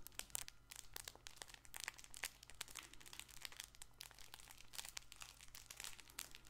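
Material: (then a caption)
Fabric. A soft multicolored fabric baby ball with crinkle filling is squeezed and scratched with fingertips and nails. The result is a dense run of quick, bright crinkling and crunching bursts over a low steady hum, with no ring after each burst.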